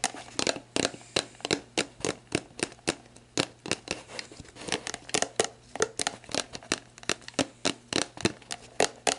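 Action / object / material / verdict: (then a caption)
tap / plastic drink bottle / plastic / none. Long black nails tap and scratch the label of a clear plastic sports drink bottle, hollow and mostly empty, with its orange cap on, lying on its side. About 33 sharp, bright, clicky taps land in a quick, fairly steady rhythm, each dying almost instantly, with soft crinkly scratching between them. A faint low hum runs underneath throughout.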